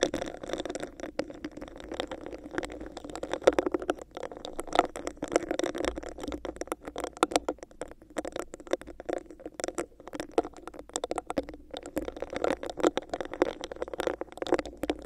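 Long nails and fingertips scratch and tap a hollow, clear, bumpy textured plastic cup placed over a microphone. The result is a dense, continuous patter of quick, soft clicks and scratches with a hollow, mid-pitched resonance. It runs steadily throughout at a fairly low level.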